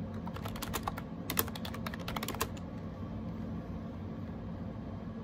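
Bare fingertips type on a gray plastic AJAZZ 308i wireless Bluetooth keyboard with round plastic keycaps, close up. A quick run of light, crisp clicky taps fills the first two and a half seconds, then only a low steady background hum remains.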